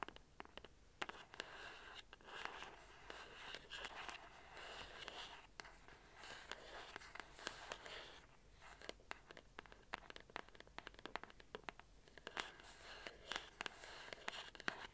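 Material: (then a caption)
Cardboard. A small hollow printed cardboard box in orange, blue and white is held in both hands while long orange acrylic nails tap and scratch its surfaces. Quick, dry, bright taps come in rapid bursts, mixed with stretches of soft, hissy scratching that rise and fall. The whole clip stays quiet and close, with each tap dying away almost instantly.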